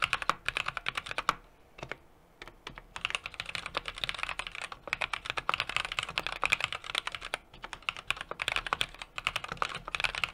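Fingertips type continuously on a small 60% mechanical keyboard with an aluminum case, brass plate and plastic keycaps. The result is a rapid stream of short, bright clicks with very little low end, briefly pausing around the two-second mark before resuming.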